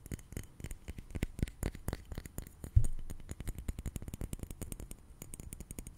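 A small blue liquid-filled glass facial ice globe, held close to the microphone, is tapped rapidly with an index fingertip and nail. The result is a quick, steady stream of soft, dull ticks with a low thump to them and bright clicky edges. About halfway through comes one noticeably louder knock.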